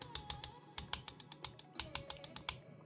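A finger lightly taps the same spot on the loose metal fan shroud of a 2024 ASUS G16 laptop, producing a quick series of sharp, bright clicks and rattles with almost no ring. The shroud is faulty from a quality-control issue, and the fan needs tightening back into its correct position.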